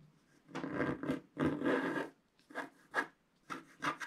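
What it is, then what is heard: Scratch-art paper being scraped with a wooden stick. A wooden stick scrapes the black coating off a flat scratch-art paper sheet, uncovering the red body of a stocking. It makes a run of dry, raspy scratching strokes: longer sweeps first, then shorter, quicker scrapes with brief pauses between them.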